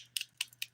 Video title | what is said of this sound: The Daily Nail: Let's Do a Triple Glitter Ombré ft. Luxie Nail #diynails #dipnails | because they're hard you hear that sound the hollow sound means they're ready to be filed